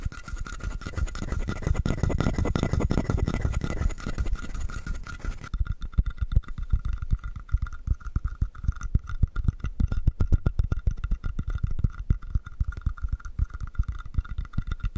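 A palm-sized hollow carved wooden frog is scratched quickly with the fingernails of both hands, producing a dense, rough, hollow scraping for the first five seconds or so. The sound then thins into a rapid, uneven stream of short, dry clicks and scratches, with a faint steady tone running underneath.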